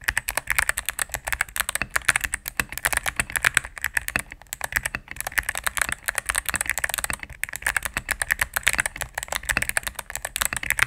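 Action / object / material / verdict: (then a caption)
tap / mechanical keyboard with plastic keycaps / plastic / none. A mechanical keyboard with all-cream plastic keycaps and a knob, resting on a desk mat, is typed on rapidly with fingertips and long nails. It gives a steady stream of short, crisp clacks and taps centred around 1.6 kHz with a bright top, little low end and no ring between strokes.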